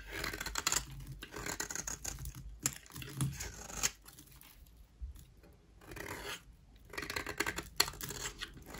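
A utility knife blade scrapes a solid, dry white rectangular bar of soap held in the hand, shaving it into powder. Bursts of bright, crisp scratching and crackling come in uneven runs, separated by quieter pauses.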